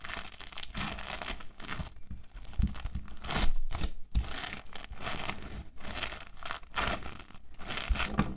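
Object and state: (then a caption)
Foam bead clay being squeezed. An orange foam bead clay log is pressed flat with stacked hands, then squeezed and shaped into a ridge with the fingertips. Dense, crunchy crackling and crinkling come in uneven bursts with brief pauses, over soft low thumps from the pressing.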